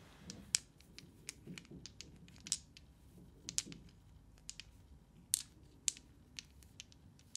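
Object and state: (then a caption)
Plastic dice. Small glowing green solid plastic dice are held in a cupped hand, shaken and clicked with fingertips and nails. The result is a quiet, irregular run of sharp, bright clicks and taps that die away almost instantly, with a soft low rustle underneath.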